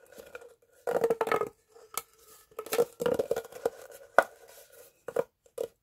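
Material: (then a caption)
Plastic. A hollow green corrugated plastic pop tube is stretched, bent and compressed with both hands and fingertips. It gives bursts of dry crinkling, popping clicks with a mid-pitched ridged tone and bright crackle, separated by short quiet gaps. Each pop stops almost instantly, leaving no ring.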